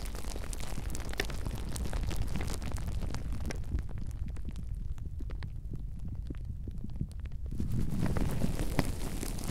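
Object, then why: Plastic bubble wrap. Clear plastic bubble wrap bunched around a microphone is squeezed and crinkled by the fingers of both hands. It makes a dense, low, rumbling crinkle scattered with sharp, bright crackles and clicks. The sound thins and quiets in the middle, then swells louder again toward the end.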